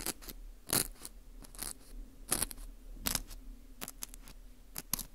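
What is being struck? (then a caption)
Dried wheat gluten ring (fu) scraped with a thin metal pick. A thin metal pick scratches the surface and the hole of a dry, porous dried wheat gluten ring (fu) held in a gloved hand. Irregular bursts of crisp, bright scraping and crunching rise over a quiet, low background hum, each one short with almost no ring.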